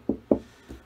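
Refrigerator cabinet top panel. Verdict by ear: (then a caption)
Okay. Knuckle knocks on another spot of a refrigerator cabinet top during a kegerator build, checking where to drill the hole for the tap tower. Two firm, dull knocks are followed by a fainter third, each short and quickly damped with a low-mid thud. The spot is judged okay for drilling.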